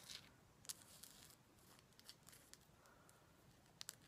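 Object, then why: Salt rock lamp. Fingers tap on a heavy Himalayan salt rock lamp, producing quiet, sharp, bright clicks similar to tapping rose quartz. The taps are scattered and irregular, each dying away almost instantly over a faint background hiss.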